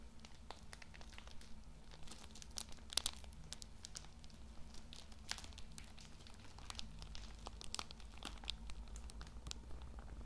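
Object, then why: Pocket tissue packs in thin plastic film. A hand-sized bundle of Lambi Cool Mint pocket tissue packs, wrapped in thin plastic film and soft and full of tissues, is squeezed and rubbed with the fingertips. It makes quiet, bright plastic crinkles and sharp crackles over a low steady hum.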